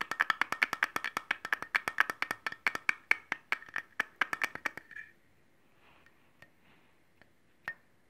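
Fingernails quickly tap and scratch the blade of a solid stainless steel cleaver with a metal handle, held up in the air. A rapid run of sharp, dry clicks with a bright metallic ring near 2.2 kHz fills the first five seconds. Then a few faint scratches and isolated taps follow over near-silence.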